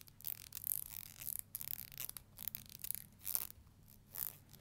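Long nails flick along the teeth of a black plastic hair comb held horizontally, giving a quiet, ratchet-like scratching. Soft bursts of bright, hissy clicking come and go with short pauses between them.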